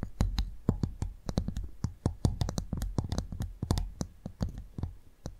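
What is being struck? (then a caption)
Clam shell. A cleaned clam shell is tapped in a rapid, uneven series of short, dry clicking taps. Each tap is brief with almost no ring and carries a dull, low-heavy thump with a faint bright tick on top.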